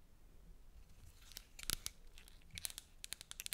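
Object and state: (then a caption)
Cardboard medicine box tapped with nails. Long nails tap and scratch the surface of a small, empty-looking blue and white cardboard medicine box held close to the mic. The sound is a quiet run of crisp, bright clicks and scratchy rustles that die away almost instantly. The taps grow sharper and more frequent toward the end.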